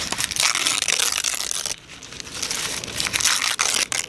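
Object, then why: Thin tissue paper sheet. A thin, crumpled, yellowish sheet of tissue or wrapping paper is gripped at the fingertips of both hands outdoors and pulled, crumpled and torn. Dense, bright crinkling and crackling rustle fills the clip, easing into a softer stretch partway through before swelling again with sharp crunchy bursts.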